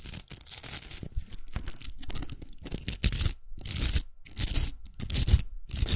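Long nails scratch a large hollow pink plastic velcro hair roller and tap its rim. Bright, crackly rasping comes in uneven bursts broken by short silences, with dull low taps mixed in.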